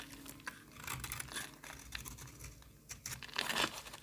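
A metal box-cutter blade held in the hand scrapes flakes off the edge of a solid, partly carved pink bar of soap. The result is a run of dry, bright scratching and crinkly, tearing scrapes of uneven loudness, building to a louder, longer scrape near the end.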